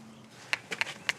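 A Saint-Leu limestone block is tapped four times, each giving a short, bright click centered high around 2.6 kHz that dies away almost at once. The block sounds sound and is judged perfect: very soft stone with a truly fine grain.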